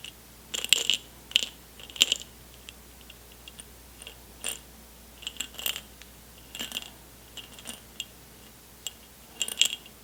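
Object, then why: Glass jar of candy-coated chocolates. An airtight jar full of M&M candies, unopened since they were taken from a backstage lounge, is shaken and handled. The candy-coated chocolates rattle inside the jar in short, bright, clicking bursts spread through the clip, with quiet gaps between them.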